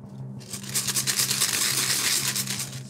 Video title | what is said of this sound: ZO!34 Glazen Huis Emmen 2016 - o.b.s. de Lisdodde | Het zit echt wel heel goed vol.